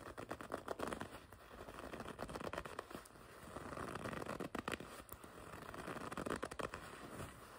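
Long red nails scratch and grip the smooth leather panel on the front of a black and red leather racing jacket. The result is quiet, dry, crackly scraping with quick overlapping rubs and faint squeaks, centered in the mid-range with little low rumble and very short decay.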